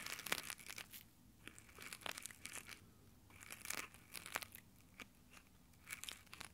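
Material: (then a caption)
Nylon. Textured nylon exfoliating gloves cup and rub over the metal mic grille of a handheld Tascam recorder, with fingertips scratching the fabric. Close, crunchy, crinkly scratching comes in bursts of short, bright, dry strokes separated by quieter pauses.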